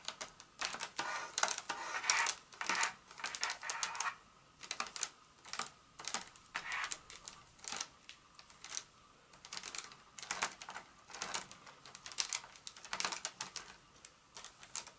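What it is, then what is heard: Paper-wrapped chocolate bar. A paper-wrapped Hershey's milk chocolate bar, lying solid on a mat, is tapped with long acrylic nails from both hands. Quick, crisp, bright clicks and papery ticks come in uneven flurries and short bursts with brief pauses, much like typing.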